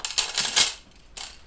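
A handful of metal paper clips is dropped into a plastic Tupperware container for a music scavenger hunt. A quick run of bright, high metallic clinks fades within about a second, followed by a softer, shorter rattle as the clips settle.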